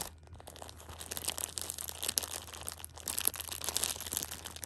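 A Shopkins pocket tissue 6-pack in clear plastic film is held in a hand while a thumb and long red nails press and scratch the wrapper. The result is a soft, steady stream of bright, crackly plastic crinkling with dense sharp ticks, growing busier toward the end over a faint low hum.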